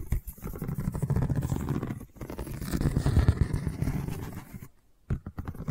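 Long nails scratch a long cylindrical woven seagrass tube covered in a straw weave, making a dense, rapid, uneven scratching patter. The sound is mostly low and muffled, with a brief break near two seconds and a longer pause just before five seconds before the scratching resumes.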